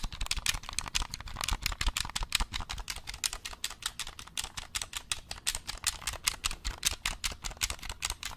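A black hollow plastic game controller is turned in the hands while fingertips press its buttons and tap its triggers. The result is a rapid, steady run of short, dry clicks and taps, each bright and crisp with a faint low thump beneath and almost no ring.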